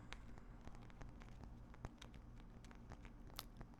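A gypsum rock specimen held in the hand is tapped lightly, giving a quiet, rapid patter of small dry clicks and crackly ticks. The taps are short, with almost no ring, over a steady low hum.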